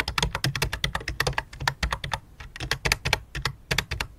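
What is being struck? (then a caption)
Plastic computer keyboard. Both hands type rapidly on a full-size white and light-blue plastic computer keyboard resting on black cloth, striking the keys with the fingertips and long dark nails. About 26 short, crisp clicks come in quick irregular bursts, with bright clacks over a low thump and almost no ring after each tap.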